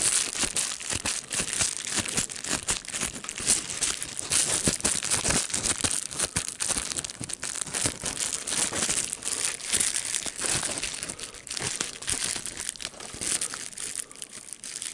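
A sheet of clear plastic bubble wrap with air bubbles is held in the hands and crumpled and crinkled with the fingers. The result is a steady stream of dense, bright crackles and crinkles for about fifteen seconds, with little low-end weight.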